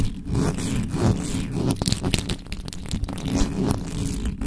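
Fingertips and long nails scratch fast across the top of the hollow metal mesh head of a black condenser microphone. The result is a dense, continuous scratchy rasp with a heavy low-end rumble, punctuated by quick bright scraping strokes.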